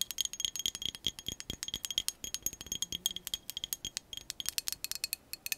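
A clear glass drinking cup with a bamboo lid and glass straw, hollow and partly filled with liquid, is tapped and scratched with long acrylic nails. A rapid, uneven run of many light, bright clicks and ticks comes with a high glassy ring around 3.2 kHz. Each one dies almost at once, and there is almost no low end.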